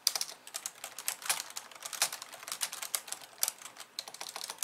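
Two hands type on a pink plastic computer keyboard with white keys, tapping with long painted nails and fingertips. A rapid, uneven stream of short, bright plastic clicks and taps follows, with no low end and almost no ring after each keystroke.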